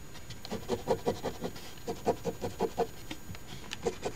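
A coin edge scratches the latex coating off the crossword grid of a thin, flat paper Ontario Lottery OLG $10 Crossword Deluxe instant scratch ticket (#3354) that lies on a table, held down by fingers. Quick, irregular rasping strokes come in short bursts, each a dry, papery scrape centered in the mid range with little high or low content. Each scrape stops almost immediately, with no ring.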